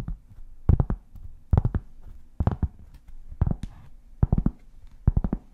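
A large, solid, round flat cork board is held beside the mic and tapped and scratched with long painted fingernails. Six quick bursts of dull, low, thudding taps arrive at roughly even intervals, with quieter scratching between them. The taps are deep and short, with almost no ring.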